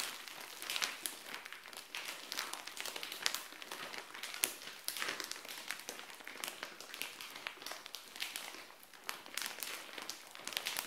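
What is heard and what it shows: Long nails scratch and tap a frosted clear plastic SHEIN mailer bag holding dark clothing, lying flat on a tile floor. The result is a steady, quiet stream of bright, crisp crinkles with quick taps and scratches, and almost no low end.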